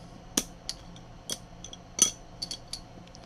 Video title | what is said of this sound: Trying to fit Connex ProSight in an IRC Alien | that piece of carbon is like glass literally sounds like glass